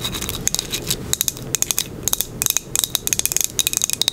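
A small, solid, square glazed ceramic coaster with a green crackle-glaze top is held in the hand and tapped and scratched with long acrylic nails. About 21 sharp, bright clicks come in quick, uneven bursts over a soft, continuous scratching hiss. Each tap dies away almost instantly with no lingering ring.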